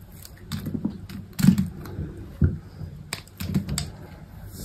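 A utility knife blade slices thin cubes off a small solid chunk of white soap held between the fingers. The cutting and scraping come as soft, irregular, low, muffled crunches, with a few louder, sharper bursts that carry faint bright edges. Each cut dies away quickly.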